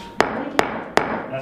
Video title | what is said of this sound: Ceiling Take Down & Top of Cabin Walls - Earthbag Kitchen, Bath & Cabin - Weekly Peek Ep157 | That's pretty solid. Does that not sound hollow? No, that feels pretty solid.